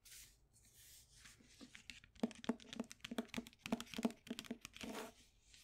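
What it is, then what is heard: Paperback book. Long white acrylic nails tap and scratch the glossy cover of a paperback copy of The Grapes of Wrath. Soft, hissy scratching comes first, then a quick, uneven run of short, dry taps with a low knock.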